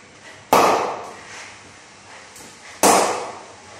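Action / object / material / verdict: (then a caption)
strike / willow cricket bat struck by a ball / willow / none. A willow SG Players Extreme cricket bat is knocked in by striking a hanging ball with its face. Two sharp, woody knocks are heard about two seconds apart, each centred near 880 Hz with a bright attack and a short ring that fades over roughly half a second.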